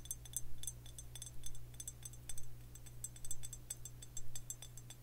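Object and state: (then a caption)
Glazed stoneware jug. Long fingernails tap quickly on a hollow Tullamore Dew glazed stoneware whiskey jug, white and green with a handle. The taps are light, bright clicks that die away almost at once, coming in loose bursts over a steady low hum.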